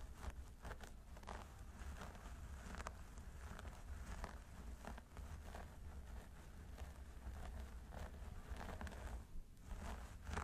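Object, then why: Synthetic hair on a mannequin training head. Fingertips and nails of both hands scratch the scalp of a mannequin training head through its long blonde synthetic hair at the parting. The result is a continuous, quiet scratchy rustle with repeated bright crackling strokes over a low, steady rumble.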